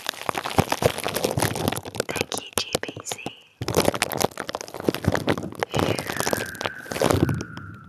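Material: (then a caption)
Plastic. Clear plastic bubble wrap is held over a microphone head and squeezed and crinkled with the fingertips of one hand. Dense, close crinkling and sharp crackling snaps run throughout, with a brief drop-out just past the midpoint and faint squeaky tones threading through the noise.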